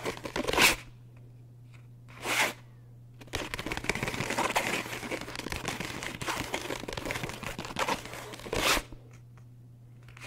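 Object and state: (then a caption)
Paper book. Fingertips and nails tap and scratch the top edge and cover of a thick paperback book lying flat with its page edges facing forward. Two short, bright papery swishes are followed by several seconds of dense, rapid crackly scratching, then one more swish, all over a steady low hum.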